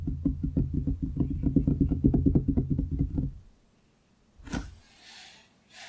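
Both hands knock and tap their fingertips on a large, solid wooden desktop close to the microphone, making a rapid, uneven run of dull, low knocks that lasts about three and a half seconds. A short silence follows, then a brief bright, noisy burst and fainter hiss.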